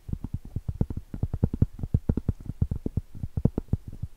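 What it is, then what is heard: Cork trivet. Long stiletto acrylic nails tap and scratch the surface and edge of a round, flat, solid cork trivet held at an angle and horizontally. The result is a rapid, uneven stream of dull, low, muffled taps with almost no ring and no bright high end.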